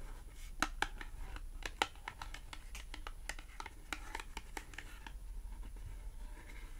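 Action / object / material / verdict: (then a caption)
tap / thin cardboard tag / cardboard / none. Long acrylic nails tap and scratch a small, thin, flat green matte cardboard clothing tag. A quick, irregular series of sharp, dry clicks with bright tops dies away almost instantly, with soft scratchy rustling between taps over a faint low hum.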